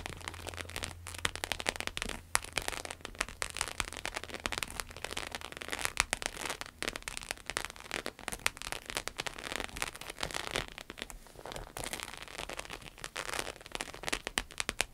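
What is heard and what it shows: Long acrylic nails rapidly tap and scratch a red, glossy, croc-textured vinyl wallet resting on a table. The sound is a dense, steady stream of bright, crackly clicks and scrapes, with a faint low hum beneath during the first few seconds.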